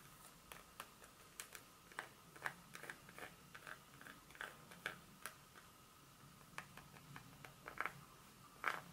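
A single long fingernail taps and scratches the segments of a solid dark chocolate bar held in the palm. The result is a quiet, uneven series of short, dry, bright clicks and light scrapes that die away almost instantly, over a faint steady tone around 1.3 kHz.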